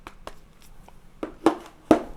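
Five light taps on the back panel of a Samsung Galaxy A50 give short, dull clicks with almost no ring, the last ones slightly louder. Compared with the glass back of a Galaxy S10, the A50's back is plastic, though the phone has a good weight in the hand.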